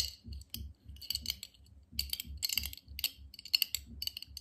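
A medium, clear glass jar, hollow and nearly empty, is held in both hands and tapped and scratched with fingertips, short nails and metal rings. Bright, high clinks and clicks ring out in quick, uneven bursts, with a low thump under many of the taps.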